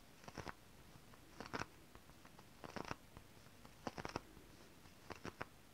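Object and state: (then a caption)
Holographic scale-printed fabric tapped with nails. Long decorated fingernails tap and scratch a shiny holographic fabric printed with mermaid scales. The result is quiet bursts of crisp ticking and scratchy rustling, separated by brief pauses of near silence.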